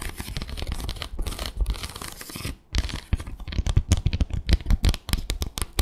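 Long acrylic nails scratch and tap across a small, flat bamboo slat mat. Dense raspy scratching fills the first few seconds, then after a short pause comes a run of quick, dry clicking taps with a deep, boomy low end.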